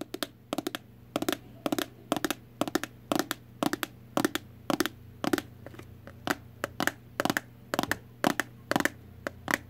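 Long acrylic nails tap and scratch a hand-sized, hollow, translucent red plastic heart-shaped box. Quick clusters of sharp, dry clicks repeat in a steady rhythm for about ten seconds. Each tap dies away almost instantly over a faint low hum.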